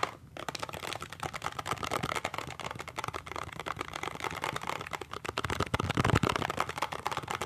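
A small, hollow cardboard toothpaste box is held end-on and sideways while fingertips and nails tap and scratch its printed end and side. The result is a fast, continuous stream of dry, clicky taps and scratchy rustling with almost no ring, growing a little louder and more hollow-sounding near the end.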